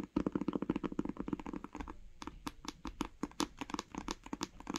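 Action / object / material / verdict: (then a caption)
tap / cloth-bound hardcover book / cloth, board / none. Long nails tap rapidly on the cover of a grey cloth-bound hardcover book lying flat, giving a quick run of about thirty short, dull, mid-toned taps with almost no ring. The tapping eases into a brief quieter stretch near the middle, then resumes as sharper, more spaced-out taps.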